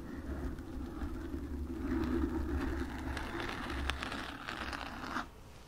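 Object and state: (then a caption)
Foam microphone windscreen being scratched. Long nails scratch the sides and front of a black foam microphone windscreen, producing a dense, continuous crackling rustle over a steady low hum. The scratching swells in the middle, then stops abruptly near the end, leaving only the faint low hum.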